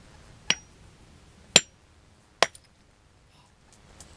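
A wrapped geode is gently tapped with a hammer three times, each tap a sharp, bright, high-pitched click with almost no ring. The geode cracks open, revealing crystals inside.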